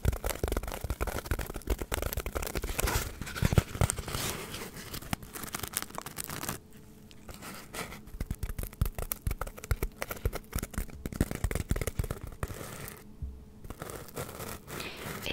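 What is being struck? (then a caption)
Polystyrene foam block. A hand-sized, solid white polystyrene foam block is scratched and tapped with long acrylic nails close to the mic. The result is a dense stream of squeaky, crackling scrapes and quick dull taps, heavy in the low end. It pauses briefly twice before the scratching resumes.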